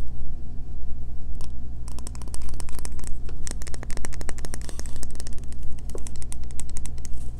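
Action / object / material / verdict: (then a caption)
tap / solid bar of soap tapped and scratched with fingernails / soap / none. Long fingernails rapidly tap and scratch an unwrapped solid green bar of soap with embossed lettering, held in the hands. Dense, sharp, bright clicks and short scratchy strokes come in quick bursts over a steady low hum.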